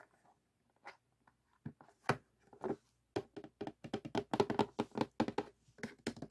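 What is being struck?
Cardboard jigsaw puzzle box.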